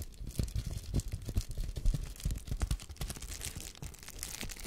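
A sheet of air-filled plastic bubble wrap is held up close to the microphone and crinkled and scratched with fingers and nails. It makes a dense, continuous crackling with soft, low, muffled thumps and sharp, brief scratches throughout.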